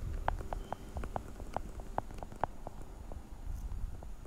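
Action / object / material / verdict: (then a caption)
tap / hollow plastic pill organizer / plastic / none. A translucent blue hollow plastic weekly pill organizer is held close and tapped quickly on its lids with long nails. The result is a quick run of short, hollow plastic clicks with a mid-range knock, over a low rumbling background. The taps grow softer and sparser toward the end.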